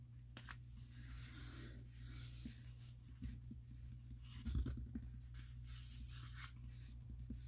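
Fingertips rub and trace along the glossy paper pages of an open catalog showing a bedroom spread. Soft, papery swishes and faint scratchy strokes sit over a steady low hum, with a slightly louder rustle near the middle. The sound stays quiet and close throughout.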